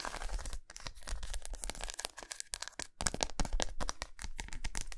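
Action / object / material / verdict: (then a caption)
scrape / milk chocolate bar / chocolate / none. Long nails scratch along a long, solid milk chocolate bar with raised squares, laid lengthwise on a towel. Rapid, dense, crackling scrapes come in quick bright bursts over a low rumble, each one dying away almost at once.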